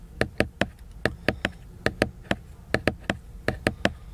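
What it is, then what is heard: Glossy laminated book cover. Fingertips tap the glossy laminated cover of a large paper picture book, producing 15 short, dry knocks in an uneven rhythm. Each tap is a crisp, mid-pitched click with a soft low thump that dies away almost instantly against a quiet background.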